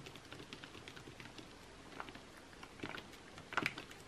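Fingertips and short nails tap and scratch across the thin, glossy paper pages of an open cosmetics catalog magazine lying flat on a white table. Soft, quick tapping and light scratching patter on throughout, with a few sharper, brighter taps standing out near the end.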